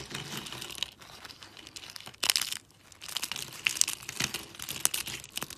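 Fingers with lilac nails snap and break thin teal sheets and shards of dry soap. Crisp, bright crackles and sharp, high snaps come in uneven bursts, with a short quiet pause near the middle. Each crunch is dry and stops at once.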